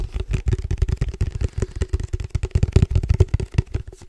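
A hand-held, black plastic padel ball tube with a red logo and a silver metal lid, hollow and apparently empty, is tapped quickly with fingertips all over its body and top. The taps make a rapid, continuous patter of short, dull, low-pitched hollow thumps with almost no ring.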